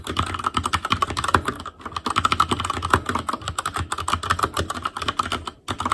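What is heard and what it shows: Fingertips type continuously on an Asus Claymore Core backlit mechanical keyboard with plastic keycaps, producing a rapid stream of sharp, clacky keystrokes with a low thock beneath them. Brief pauses break the rhythm near 1.7 and 5.6 seconds before the typing resumes.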